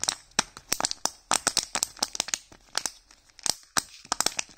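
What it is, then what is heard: Foil wrapper being crinkled and peeled off a plastic egg. A small, hollow plastic Kinder Joy egg in a thin blue Doraemon-printed foil wrapper is held in both hands while fingertips and thumbs rub, crinkle and begin peeling the foil. The result is a rapid series of sharp, bright crinkles and crackles with almost no low end, each dying away instantly.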